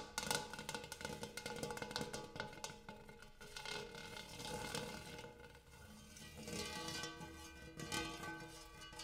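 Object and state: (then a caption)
Large metal bowl. A big metal bowl is tapped repeatedly, giving many quick, bright metallic taps over a sustained ringing tone with steady pitched overtones. The taps come in irregular clusters, some louder and some softer, and each strike decays quickly.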